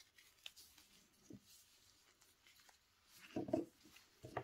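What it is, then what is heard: Dry recycled soap ball being cut. A small, solid ball of dry recycled Dalan soap, held in black-gloved hands, is shaved and cut with a metal knife blade while other soap balls sit nearby untouched. Faint, dry scraping and crumbly rasps are broken by a few short, sharper cutting crunches, the loudest near the end.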